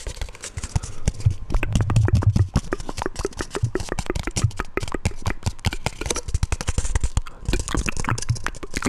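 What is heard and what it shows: A round, hollow, palm-sized black plastic lid is held up and tapped on its rim and top with fingertips and nails. The result is a rapid, continuous stream of short, dry clicks and hollow low thumps that die away almost instantly. A few denser, heavier bursts of tapping stand out along the way.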